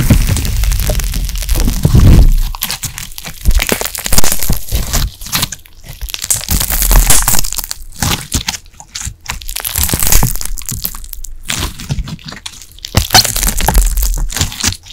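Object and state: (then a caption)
Glitter slime being squeezed. Translucent light blue glittery carbonated slime is stretched wide, then squeezed and folded with the fingertips of both hands behind the microphone. It makes dense, continuous crackling and popping over a heavy low, muffled handling rumble, rising and falling in loudness through the clip.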